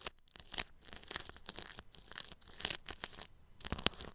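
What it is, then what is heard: Cling film over a microphone, brushed. A bristle paintbrush brushes the grille of a round microphone wrapped in clear plastic cling film. It makes bright, crinkly, scratchy strokes in uneven bursts with short quiet gaps. The sound is mostly high and hissy, with little low end.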